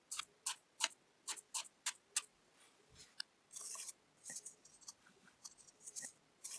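A thin wooden skewer pokes rows of small holes into a quartered orange kinetic sand disc. Each poke makes a short, bright, crisp crunch with no low end, and the pokes come in a steady series. Midway there is a longer grainy hiss, and the later pokes land more irregularly.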